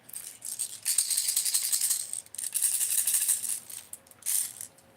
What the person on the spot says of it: just a bunch of BBS you know and they're just shaking